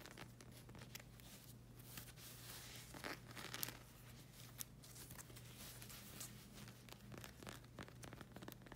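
Long acrylic nails scratch and handle the rubber sole of a flag-print slide sandal, and the strap is touched too. Quiet, dry, crackly scratches and bright rustling bursts come and go over a steady low hum.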